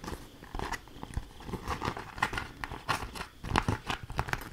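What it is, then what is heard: Beeswax food wrap crinkled. A thin, stiff, patterned green fabric food wrap coated in beeswax is held up and crinkled and scratched with long acrylic nails. Sharp crackling and scratching sounds come in quick, uneven bursts, with bright crisp edges over a soft low rustle.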